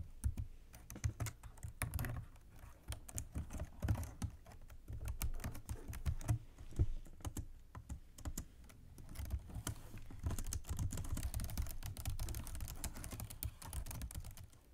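Fingertips and long nails tap rapidly on the keys of a black plastic computer keyboard resting on a desk, with both hands typing. The result is a dense, steady stream of short, dry clicks and soft thumps that stop almost instantly, with most of the weight low and muffled. The typing runs in quick bursts throughout, easing briefly in the middle before picking up again.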